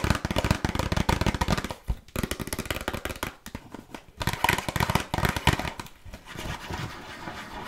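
Long nails tap rapidly on a small, closed red printed cardboard box of burger cookies that is hollow with contents inside. They make quick, dull, hollow clicks with a low thump and very short ring, in bursts separated by brief pauses, before softening into lighter tapping at the end.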